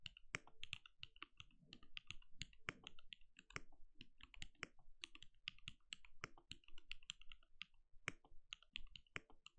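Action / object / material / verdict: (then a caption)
tap / mechanical keyboard with plastic keycaps / plastic / none. A compact RGB-lit mechanical keyboard with a translucent plastic case and plastic keycaps sits on a desk and is typed on steadily with the bare fingertips of both hands. It gives a quick, continuous run of short, dry keystrokes, each a bright click over a soft low thud with almost no ring.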